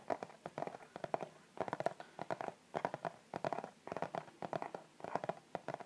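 Fingertips and short nails tap and scratch across the front of a flat, hollow, rigid white-and-pink striped Victoria's Secret cardboard gift box held upright in both hands. Quick clusters of dry, hollow taps with a midrange knock around 670 Hz come in bursts separated by brief pauses, with light scratching between them.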